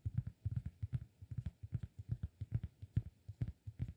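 Right fingertips tap a round, flat, solid cork disk held in the left hand. The result is a quick, uneven run of soft, dull, low thumps with almost no ring, at a quiet level and nearly all bass.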